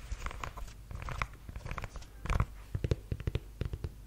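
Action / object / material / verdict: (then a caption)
tap / suede block-heel ankle boot / suede / none. Long yellow nails tap on the chunky block heel and sole of a black suede ankle boot and scratch across its suede. The result is a run of short, dull, low-pitched knocks with quick decay, mixed with soft brushy scratching. The taps grow more distinct and evenly spaced toward the end.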